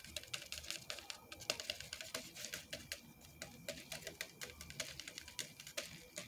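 Fingernails tap rapidly on the side and domed plastic lid of a large, hollow white styrofoam drink cup with a straw. The result is a quick, uneven patter of light, bright ticks, each very short with almost no ring, over a soft, thin background.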